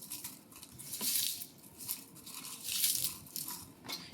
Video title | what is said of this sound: How to Make Tomato Skin Powder - At Home With Us | you can hear that dry crisp sound